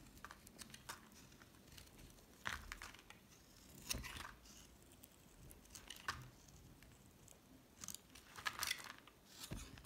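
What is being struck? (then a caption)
Bar of soap cut with a metal blade. A solid green bar of soap, held in the hand, is carved into thin slices with a metal utility knife blade. Short bursts of bright, dry scraping and scratching come through with soft crinkly crackle, separated by quiet pauses in a close, hushed setting.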